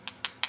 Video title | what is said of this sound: Wax up of crown for lower right second molar | make sure that the model is still closing properly it feels like it is we're getting a nice solid sound of stone touching Stone